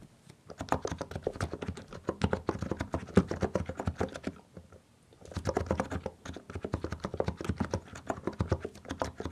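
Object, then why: Mechanical keyboard with plastic keycaps. Both hands type with their fingertips on a compact mechanical keyboard with plastic keycaps, producing rapid, dry, low-pitched clacks with very short decay. Two steady bursts of typing are separated by a brief pause of about a second in the middle.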